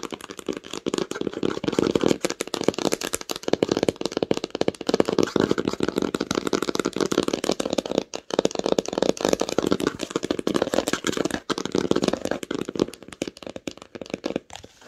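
Long nails tap rapidly and steadily on the cover of a red cloth-bound hardcover book lying flat. The taps are dense, dry, short clicks with a muted mid-range body and almost no ring.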